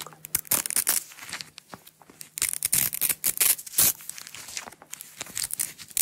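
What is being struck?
Nylon hook-and-loop strap.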